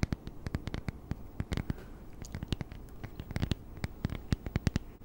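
Long nails tap and scratch the plastic screen and back of a small, flat, solid e-reader held in both hands close up. A rapid, uneven run of short, dry clicks with a dull low thud to each, over a faint continuous scratching between taps.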